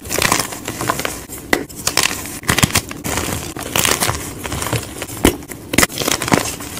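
Hands crush and crumble pieces of solid white gym chalk block (magnesium carbonate) with fingers and palms over a pile of chalk powder, with more blocks nearby. Dry, bright crunching and crackling bursts come in quick, uneven clusters. Softer gritty crumbling fills the gaps between the sharper snaps.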